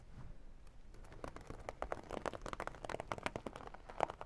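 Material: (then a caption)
Vinyl. Long dark nails tap and scratch the glossy surface of a small zippered makeup bag covered in holographic vinyl. The result is a quiet run of quick, dry clicks and crinkly scratches that cut off almost instantly, with no ring after each one, and a soft low rumble underneath.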